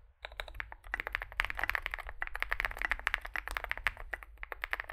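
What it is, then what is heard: Mechanical keyboard being typed on. A compact 65% Zoom65 mechanical keyboard, with an aluminium case, foam filling, lubed switches and SA plastic keycaps, rests on a desk mat as both hands type continuously with their fingertips. After a brief quiet start, there is a dense, steady stream of short, crisp clacks centered in the upper midrange, with bright tops and almost no ring between keystrokes.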